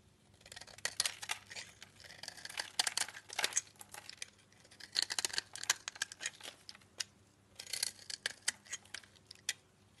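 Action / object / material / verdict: scrape / bar of laundry soap / soap / none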